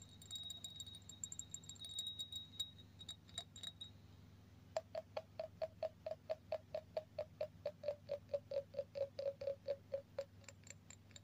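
An empty, clear embossed cut-glass drinking glass is held in the hand while fingernails tap its rim and sides. Faint, scattered taps over a faint high whine give way after about five seconds to a steady run of sharp, short clicks, each with a brief glassy ring near 640 Hz. A low hum sits underneath throughout.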